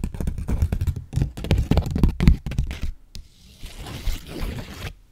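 A 20 dollar paper bill is held in the fingers and scratched, stretched and crinkled with long nails. Rapid, irregular crackling and scratching bursts, heavy in low-end thump, fill the first three seconds. They then give way to a quieter, softer rustling hiss that fades out at the end.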